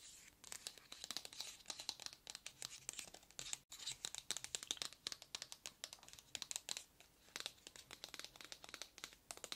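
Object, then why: Cardboard product box. Long red nails tap and scratch the surface of a long, narrow, hollow white cardboard product box held in both hands. The result is quiet, rapid, crisp clicks and dry scratching, bright and high-pitched with almost no low end, broken by a brief silence near the middle.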